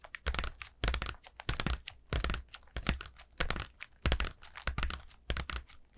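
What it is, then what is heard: Paper lantern. Long nails scratch and tap a collapsed orange paper lantern made of pleated thin paper with a black plastic centre. Irregular bursts of dry, crinkly crackling and bright scratching come with soft low thumps. Each burst dies away almost at once, with short pauses in between.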